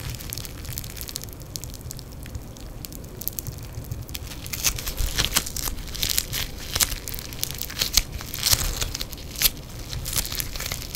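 Yellow crackling foam bead clay, soft and solid, is stretched, folded and squeezed by fingers in black nitrile gloves. Dense bright crackles and crinkling pops sound over a low, soft bed, growing busier and sharper in the second half.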